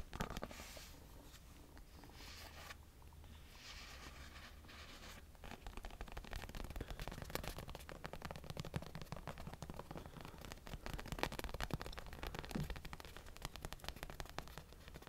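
Fingernails scratch along the side and blue top of a small red and blue stuffed toy punching bag with a vinyl cover, held close to the mic. A soft, muffled scratching with a low rumble gives way after about five seconds to denser, crisper crackling scrapes that continue steadily to the end.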